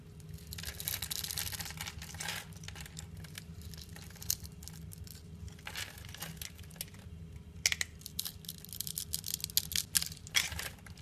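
A blade crushes and cuts flakes from a hand-held, solid, translucent purple glycerin bar soap scored in a diamond pattern. It makes bright, crisp crackling and scraping with scattered sharp snaps over a faint steady low hum.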